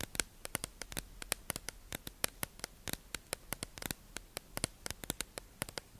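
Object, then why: Clear plastic tube package holding sponges. A hollow, clear plastic tube-shaped package holding makeup sponges is held in the hand and tapped and scratched with long acrylic nails. Many quick, sharp, bright clicks ring out over a faint hiss, each dying away almost instantly.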